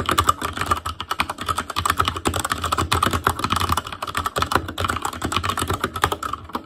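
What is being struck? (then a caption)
Plastic mechanical keyboard. Fast fingertip typing on the plastic keycaps of a black plastic Asus Claymore Core mechanical keyboard. It produces a dense, steady stream of short, sharp clacks with a bright, clicky tone centered around 1.2 kHz. A low hum runs underneath throughout.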